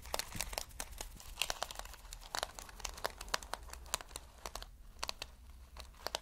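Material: Plastic.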